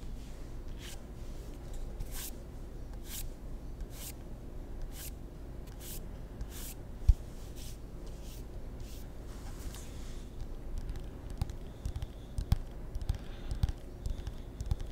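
A solid ping pong paddle, a wooden table tennis blade with rubber faces, is tapped with the fingertips. Soft, brief taps and brushing sounds come in a steady rhythm over a low, constant rumble, with a few sharper knocks toward the end.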